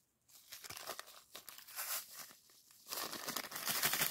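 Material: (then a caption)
Plastic, sand. A small clear plastic zip-lock bag of purple sand granules, held in both hands, is squeezed and rubbed by the fingers. After a brief silence, bright crinkling plastic and gritty, shifting sand rustle in uneven bursts, growing denser and louder toward the end.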